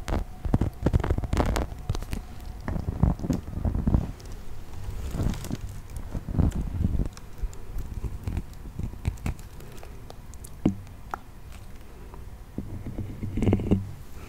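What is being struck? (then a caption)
Small plastic animal toy figurine. A hand-sized brown textured plastic toy mammoth with cream tusks, likely solid or thick-walled, is held in one hand and tapped and scratched with fingertips and nails. Dense, dull, low taps and soft scraping come in uneven bursts, each tap dying almost at once. The result is a muffled, bassy patter with little bright edge.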